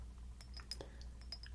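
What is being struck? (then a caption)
Glass perfume bottle. Natural fingernails tap a 5 fl oz Bvlgari Eau de Cologne glass perfume bottle, chosen because nail tapping on glass is less abrasive and more forgiving. A series of light, glassy clinks ring out with a high bright tone over a low steady hum.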